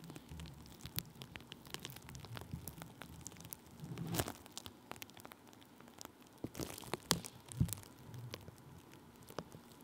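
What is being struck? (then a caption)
Thin plastic bubble wrap rubbed with a wooden stick. Thin clear plastic bubble wrap laid over a microphone is rubbed and pressed with the side of a wooden stick held in the fingers. The result is a quiet, steady bed of low crinkling and rustling, broken by many sharp, bright little ticks and crackles. Louder scraping swells come around four seconds and again between about six and a half and eight seconds.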